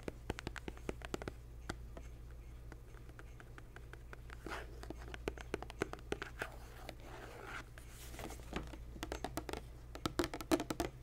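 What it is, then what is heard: Glass jar tapped and scratched. A clear glass jar with a metal screw lid and a paper label, holding some contents, is held in the hand while nails and fingertips tap and scratch the glass. Many quick, short clicks and taps come in irregular bursts over a faint steady low hum, with soft scratching swells in between.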